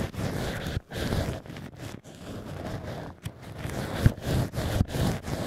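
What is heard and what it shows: Two black ear picks scratch inside the drilled holes of two cork wine-stopper "ears" at the same time. The result is a dense, low, rough scraping and rustling, broken by brief pauses and a few sharper low scrapes.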